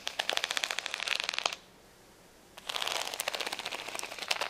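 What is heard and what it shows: Long nails scratch rapidly across the rows of rainbow acrylic rhinestones on a flat plastic sticker sheet with clear backing, resting on a towel. The result is dense, bright clicking and rattling in two bursts, separated by about a second of near silence.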